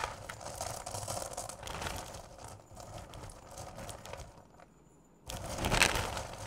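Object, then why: Bowl of candy corn. Two hands with long purple nails dig into and rake through a large bowl filled to the top with candy corn, small solid sugar candies. The result is a dense, bright rattle of clicking, crinkling candy over a low rumble. The sound briefly falls almost silent, then returns in a louder, fuller rush as the hands plunge back in.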